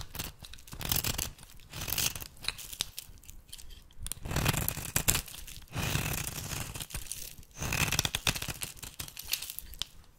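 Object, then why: Bar of soap shaved with a metal blade. A metal blade shaves curled flakes from the edge of a solid, rancid oval bar of purple soap held in the hand. Dry, bright scraping and tearing strokes come in repeated bursts with a low rumbling undertone, separated by brief quieter pauses.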